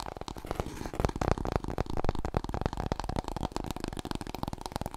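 Fingernails rapidly tap and scratch a large, long, hollow, empty brown cardboard paper roll core, held diagonally and then horizontally across the body. The result is a dense, continuous patter of dull, hollow, low-pitched thumps mixed with light scratching.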